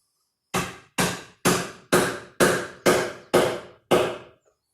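A mallet drives the wooden tusk tenon wedge on the other side of a trestle table with eight sharp, evenly spaced knocks. The sound shifts as the wedge seats, showing it is tight.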